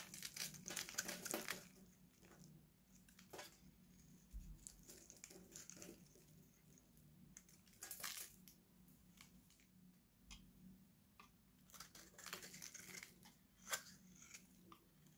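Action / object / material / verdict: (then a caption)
scrape / bar of soap scraped with a steel blade / soap / none. An oval, solid, hand-sized pink Nivea bar soap is held in one hand and shaved with a steel utility knife blade, scraping and cutting off dry flakes. The result is an irregular run of crisp, bright scratching and crunching strokes, loudest near the start and in a few sharp bursts later, over a faint low hum.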